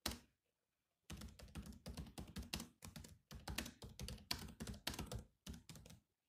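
Fingertips of both hands type on the black plastic chiclet keys of a silver laptop with a hollow body. A single tap is followed by a short pause, then rapid bursts of clicky keystrokes with brief gaps, each tap combining a hollow low thunk with a bright, short click that dies away quickly.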